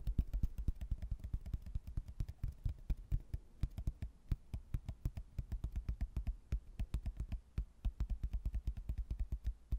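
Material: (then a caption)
Hardboard. A thin, solid cork-backed laminated hardboard placemat with a stone-ruin print is held up and tapped and knocked with fingertips. The result is a fast, steady stream of short, dull, low thuds that die away almost instantly, with little high-end content.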